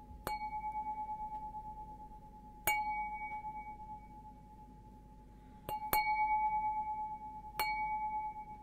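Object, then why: Stemmed glass goblet. Fingernails tap the bowl of an empty, hollow stemmed glass beer goblet held upside down. Each tap brings a bright, clear ring at about 850 Hz with higher overtones, which hums on and fades slowly between the irregularly spaced taps.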